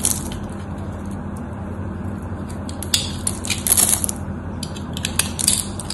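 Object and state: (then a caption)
Bar of soap being cut. A solid rectangular white soap bar, held in hand with a pre-scored crosshatch surface, is carved with a craft knife blade so small cubes chip off. Crisp, bright crunching clicks sound over a steady low hum, with the louder crackling bursts bunched near the end.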